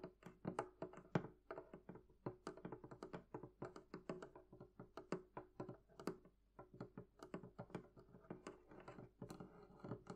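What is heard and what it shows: Long nails and fingertips tap rapidly and continuously on the wooden sides and top of a hollow, closed, barrel-shaped wooden chest. Dozens of quiet, short, dry thunks carry a low, hollow body around 164 Hz. Brief bright clicks from the nails ride on top, and each tap dies away almost at once.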